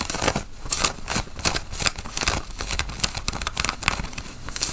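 Fingernails scratch the chest pockets and buttons of a worn, dark grey cotton flannel button-up shirt. The result is a steady run of quick, dry, bright scratching strokes with crinkly texture and occasional sharper clicks, each dying away almost instantly.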